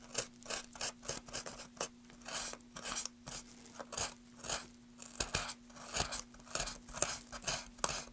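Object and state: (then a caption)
Wooden plank being scraped with a knife. A small metal carving knife scrapes and cuts across the carved end of a solid wooden plank held at an angle in a gloved hand. It makes a quick series of short, dry, bright scraping strokes with a faint steady low hum underneath. Each stroke stops abruptly, with almost no ring.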